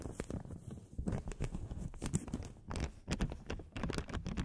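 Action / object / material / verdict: scrape / thin paper blotting sheet / paper / none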